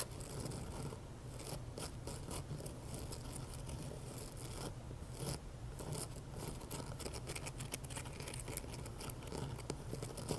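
A fist-sized, solid pink rock-salt Himalayan salt candle holder, with an empty hollow on top and standing on a ring of coffee beans, has its rough sides scratched and tapped by medium nails. Quiet, dry scraping and rasping runs throughout, dotted with short, sharp taps that stop at once, over a steady low rumble.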